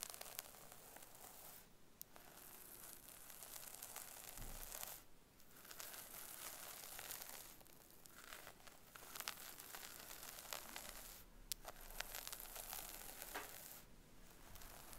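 Long almond acrylic nails on both hands scratch through a brown long-haired wig on a mannequin head lying on a pink cushion, working through the hair and along the parting at the scalp. The result is a dense, bright, crunchy crackling and tearing rustle, broken by a few short, quieter pauses.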